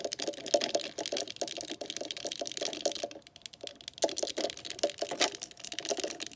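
Long nails on both hands tap and scratch along a green glossy hard-plastic telephone handset resting on the cradle of a rotary phone. The result is a fast, dense run of bright, dry clicks with a hollow plastic ring around 580 Hz and light scratchy rasps between them. The clicks briefly thin out just after the three-second mark and then pick up again.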